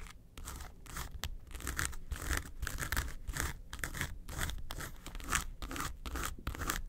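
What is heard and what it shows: Long nails scratch across the front face of a flat, hollow yellow case covered in textured faux leather. The result is a steady run of rapid, dry rasping strokes with bright scratchy texture over a low hollow rumble.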